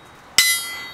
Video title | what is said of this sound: My BIG Anvil - 378 Pound Wilkinson Anvil | you can hear it hear it ringing there's a fair old bounce there